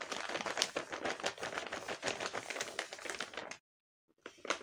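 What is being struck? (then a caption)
Paper bag wrapped in clear tape, filled with paper packets. Fingertips and long painted nails press, rub and squeeze a large flat paper bag printed with Hello Kitty, sealed and covered in clear tape and stuffed with small paper packets. The result is a steady, bright, dense crinkling and crackling for about three and a half seconds, then a short silence before a few more crinkles.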